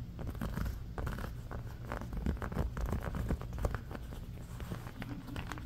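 Fingernails of both hands scratch fast and hard across a round, red, ribbed silicone trivet, thin and flexible and partly lifted on a blanket. The result is a steady, irregular stream of dull, crackly scrapes with a heavy low rumble and little brightness.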